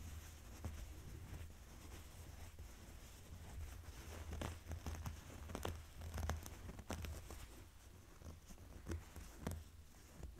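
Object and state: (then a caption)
Denim jeans being scratched. Fingernails slowly scratch and rub folded blue denim jeans lying on a table. The audio is quiet, soft, rough scratching and rustling, with irregular bright scratchy strokes over a steady low hum.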